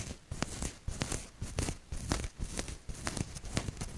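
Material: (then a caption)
Cotton. Long nails and fingertips scratch and rub a maroon cotton t-shirt with a maple leaf print close to the mic. The result is irregular bursts of soft, crinkly rustling, about two per second, with a low, muffled thump under each stroke and a bright, scratchy edge on top.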